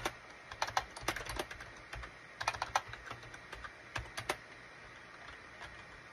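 Fingertips type and tap on a full-size gray and beige SHIPADOO K600 wired USB plastic keyboard with hollow plastic keycaps. Quick, dry, clicky keystrokes come in irregular bursts with short gaps, each clack bright and dying almost instantly.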